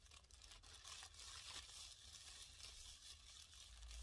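A thin, empty, white printed plastic dentist bag is bunched in both hands and slowly crumpled and rubbed between the palms and fingers. It gives a steady, soft, bright crinkling over a low hum.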